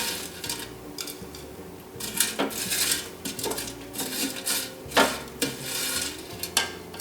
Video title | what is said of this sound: Air Fryer vs Deep Fried Shallots (Bawang Goreng) — Which Is Crispier? | You can hear how crispy they are.